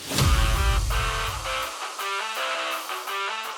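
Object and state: Nothing is struck.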